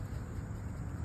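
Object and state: Nothing is struck.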